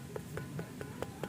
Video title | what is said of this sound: Misteri Gunung Padang, ada apakah di sana? | Kalau ini ada 4 nada. Nah, Ini nggak sembarangan batu.